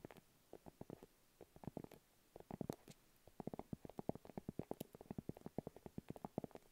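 Long acrylic nails tap and scratch a small, round, hollow pink padded faux leather makeup pouch held up in both hands. Dozens of quiet, dull, muffled taps come in quick bursts with brief pauses, each dying away instantly. The sound stays in the low and mid range with no bright ring.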